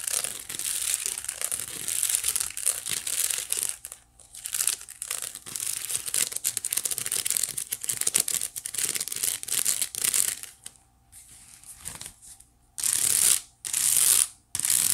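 Long nails on both hands quickly scratch the woven strands of a white wicker basket. A dense, bright, crackling scratch fills the clip in rapid bursts with short pauses. It ends in three louder, sharper bursts.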